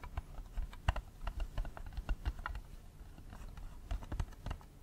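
A small, hollow, clear plastic audio cassette case with a red/pink insert is held in one hand and tapped rapidly with the fingernails of the other hand. The result is a quick, irregular stream of short, dry plastic clicks with a soft low thump under each tap and almost no ring.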